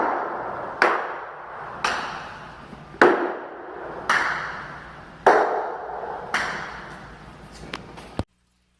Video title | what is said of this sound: the stone and tile video blog 5 hollow sounds | I hit some really hollow type sounds and then I hit some solid sounds the solid sounds usually indicate that the tile is well bonded